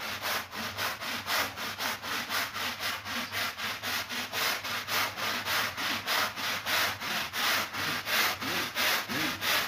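A stiff-bristled push broom scrubs back and forth across a flat, woven, ladybug-shaped rug that is soapy and wet, resting on a marble floor. Each stroke makes a bright, hissing, wet rasp, and the strokes repeat quickly and steadily with short gaps between them.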